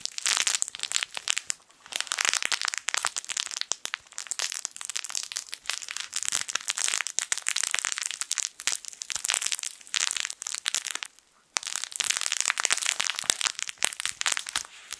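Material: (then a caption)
Plastic film. A yellow sun-shaped plush fabric crinkle toy with crinkle film inside is squeezed and scratched with fingertips. It gives a dense, bright crinkling and crackling that runs almost without a break, with short pauses near 2 seconds and around 11.5 seconds. There is no low end.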